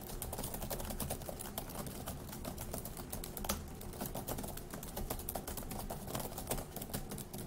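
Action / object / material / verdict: tap / plastic laptop keyboard / plastic / none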